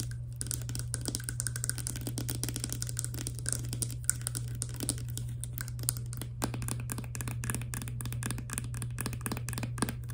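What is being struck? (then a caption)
Small plastic pump bottle. Long nails rapidly tap the body and pump head of a small clear plastic hair serum bottle with a green plastic pump. The result is a dense stream of short, dry, bright clicks over a steady low hum. After about six seconds the taps become crisper and more evenly spaced.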